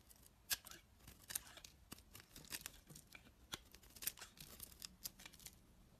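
A utility knife blade shaves thin strips off a dry, solid, translucent orange-yellow bar of soap held in the hand. A quiet, irregular series of short, crisp scraping and cutting strokes is heard, bright and hissy with very little low end, each stroke ending abruptly with no ring.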